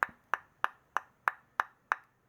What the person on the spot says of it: when you tap fatwood you get that very dense sound